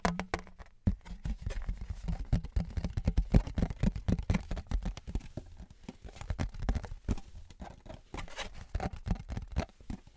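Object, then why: Thin aluminium license plate. A thin, flat metal novelty Patriots license plate, likely aluminum, is held horizontally and tapped rapidly with fingertips and nails. The taps sound hollow and block-like, with a dull, low-heavy thud and very little ring. They come in a quick, uneven patter throughout.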